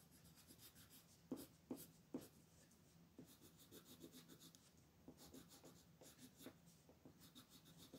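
A red colored pencil held in the fingertips rubs and shades a thin sheet of white paper printed with a mandala, lying flat on a wooden table, while the other hand with long nails rests on the paper. Steady short strokes make a soft, dry, bright scratching that repeats in quick uneven bursts, with a few sharper ticks near the start. The whole clip stays quiet and close.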